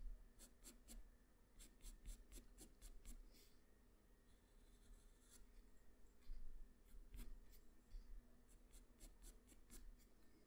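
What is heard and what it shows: The graphite tip of a black wooden pencil, held in the fingers, makes short scratching strokes on a flat sheet of white drawing paper resting on a hard surface. Quick, bright, dry scratches come in bursts with brief pauses between them. A steady low hum sits underneath throughout.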